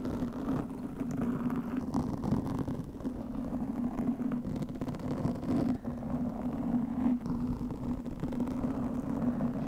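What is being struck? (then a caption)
Foam microphone windscreen. Long fingernails of both hands scratch a black foam microphone windscreen. The result is a continuous, dense, muffled scraping rumble with a steady low hum near 250 Hz and almost no bright content. The level stays fairly even throughout, with brief dips.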